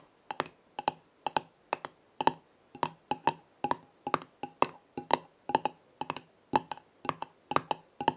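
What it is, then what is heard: Glass herb jar with metal lid. Long red nails tap the gold metal screw lid of a small square glass jar filled with dried herbs, then fingertips grip and tap the jar's glass sides, while other jars stand untouched nearby. The result is a steady run of quick, dry clicks, often in close pairs, each with a bright edge and a faint tone near 945 Hz that dies away almost instantly.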